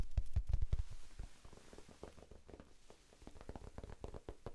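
Fingertips tap quickly on a small, soft, solid rectangular pink foam sponge held in both hands. The taps are dull, low thumps with almost no ring. They start louder in the first second, then continue as a softer, uneven patter.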